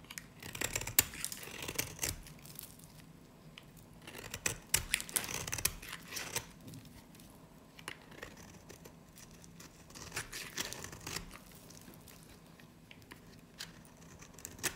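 A small solid cream dry soap bar with a black varnished edge, held in the hand, is scraped and shaved by a metal utility blade. Bursts of bright, crisp scratching and crumbly rasping come in clusters, loudest in the first six seconds, then settle into softer intermittent shaving strokes.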